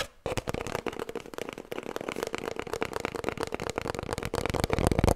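Long nails scratch along the length of an empty, hollow cardboard kitchen roll tube. After a brief quiet start, a dense, fast stream of dry crackling scrapes and clicks follows, with a low hollow body to the sound. It grows slightly louder toward the end.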